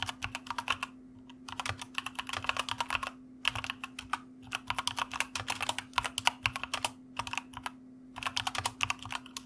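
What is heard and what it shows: Fingertips of both hands type on a white plastic mechanical computer keyboard, producing rapid bursts of sharp, bright clicks separated by brief pauses. A faint, steady low hum runs underneath throughout.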